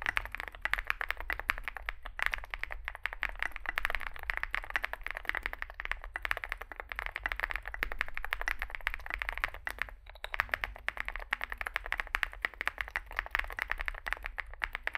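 Fast typing with both hands' fingertips on a compact 65% Zoom65 mechanical keyboard with a dark case and white and grey SA-profile plastic keycaps, resting on a desk mat. A dense, continuous stream of short, sharp clacks rings brightest around the upper midrange, with brief pauses near 2 and 10 seconds.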